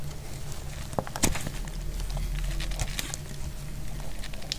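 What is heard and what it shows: A solid, dry yellow bar of soap held in the hand is sliced with a metal utility blade. Short, dry crackling scrapes and bright ticks sound as the blade cuts through, over a steady low hum.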